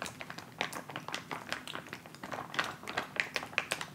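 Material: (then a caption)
Plastic. A filled white plastic instant cold pack pouch resting on fabric is tapped and rubbed with fingertips and nails. The result is a quick, irregular stream of dry, crinkly plastic taps and scratches that sound bright, with little low end and almost no ring.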